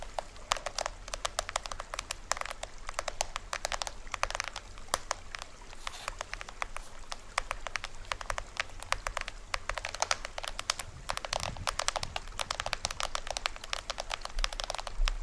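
Fingernails tap and scratch the taut printed plastic film head of a small hollow toy drum held facing the camera. Rapid, dense, dry clicks and crinkly scratches sound bright and die away almost instantly, over a faint steady low hum.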